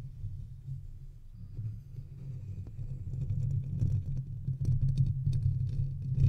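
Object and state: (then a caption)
Metal microphone body scratched and tapped. Fingertips scratch and tap the sides of a hollow silver metal microphone body. The result is a dense, low, boomy rumble with rough scratchy texture and faint bright crackles on top, growing gradually louder toward the end.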